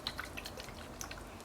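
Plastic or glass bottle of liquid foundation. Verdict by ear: Watery.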